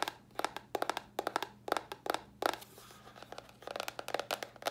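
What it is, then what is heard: Cardboard box tapped with nails. Long nails tap a small, hollow white cardboard box in quick, irregular bursts. Each tap is a dry, crisp click with a hollow mid-range tone and a bright edge that stops at once with no ring. A brief soft rustle comes in the middle of the sequence.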